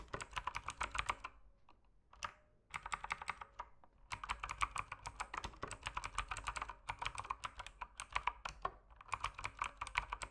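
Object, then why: Mechanical keyboard with plastic keycaps. Fingertips type steadily on a mechanical keyboard with plastic keycaps, producing dense bursts of short, crisp clicks with a bright, clacky edge. The bursts are broken by brief pauses, and each keystroke dies away almost instantly.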